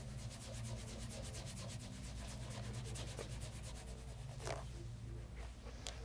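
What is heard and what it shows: A light brown pebble grain leather loafer, fitted with a shoe tree and resting on a leather lap mat, is rubbed in circles over the toe and upper with a cloth while fingers rest on it. A steady, soft, rhythmic brushing hiss repeats over a low, constant hum, with a few brighter scuffs standing out near the end.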